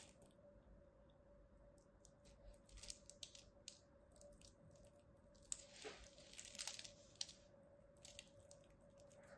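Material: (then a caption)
Soap. A small metal blade carves the scored surface of a solid, palm-sized pink soap bar into crisp chips. Bright, dry crunching and scraping bursts come in uneven clusters over a quiet background with a faint steady hum, with the densest stretch of crackling near the middle of the clip.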